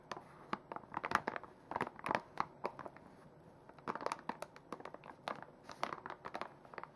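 A full plastic makeup wipes pouch is held in the hands and squeezed and crinkled with fingers and nails. It gives a close, dry run of quick crinkles and sharp crackling snaps in irregular bursts, centered in the midrange with brief bright edges. Each crackle dies away almost at once, with quiet gaps between the clusters.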